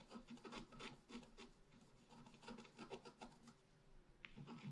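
A wooden stylus scratches small marks at the lower right of a flat, black-coated scratch art paper sheet. Quick, irregular raspy strokes follow one another, each a dry, bright scrape that stops at once with no ring.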